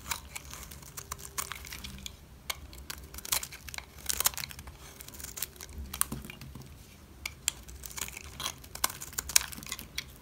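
A utility knife cuts and scrapes the face of a solid green dry soap bar. Many short, dry, crisp scraping and crunching strokes sound in irregular bursts with bright high content, over a low, quiet background.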